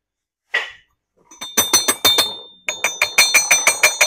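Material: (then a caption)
Iron-rich clay. Ceramic tea cups from a 450 ml fire-changed jade-glaze tea set, made of clay containing iron ore, are tapped about 15 times: one lone tap, then a quick run of taps and a steadier series. Each tap gives a short, bright, high-pitched clink with a sharp metallic ring like two pieces of iron struck together, which comes from the iron in the clay.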